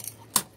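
A nail hidden in the wooden timber of a boat part is struck during work, giving a short, bright metallic tick instead of the usual sound of wood. A faint tap is followed by one sharp, high click that dies away almost at once. The odd sound gives away a nail buried where none should be.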